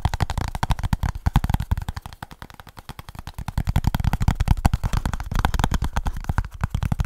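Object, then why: Small cardboard box. A small kraft cardboard product box with a printed label and barcode is tapped and scratched with fingertips and short nails close to the mic. Rapid, dense, dull thumps and scratchy taps run almost continuously, with heavy low-end weight and very short decay. The taps ease off slightly in the middle before building back up.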